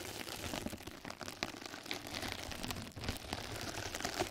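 Two mascara brushes scratch and brush across a flat yellow knitted-mesh scrub sponge pad laid over the microphone. The result is a steady, dense crackle of bright, rustling scratches with no pauses.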